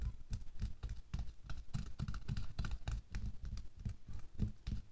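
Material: Latex.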